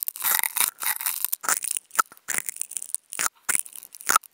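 Two wooden toothpicks fitted with contact mics are scratched across the fibers of a white nonwoven fabric sheet. The result is dry, crunchy, bright scratching in uneven bursts with brief silent gaps between them, and there is almost no low end.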